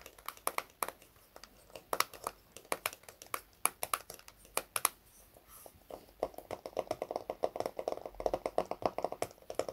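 A small round red plastic hair wax jar with a lid, held in both hands, is tapped and scratched with fingertips and short nails on the lid and sides. Dozens of quick, dry, clicky taps with bright edges die away almost instantly, with a brief softer scratchy stretch near the middle. After that, the taps turn denser and take on a hollower mid-range tone.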